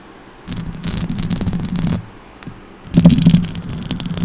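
Long orange acrylic nails on both hands scratch the hollow metal mesh grille head of a silver Blue Yeti USB microphone with stickers on its body, then pluck at it at the end. Two bursts of close, rough scraping are heard, separated by a short quiet gap, each a dense crackle over a strong low hum.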